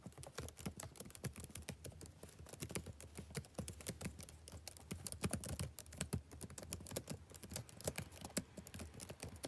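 Fingertips type steadily on a black plastic backlit laptop keyboard. The quick, soft key taps are short and dry, with a low, muted thud beneath faint bright clicks, and they run in a continuous, uneven patter throughout.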